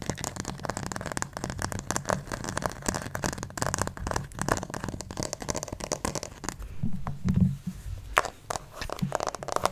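Fingernails scratch over the head and torso of a white plastic acupuncture doll, likely hollow, held close to the mic. Dense, crinkly scraping and crackling runs throughout with a heavy low hum. Toward the end the strokes thin out into a few sharper scratches with brief quiet gaps.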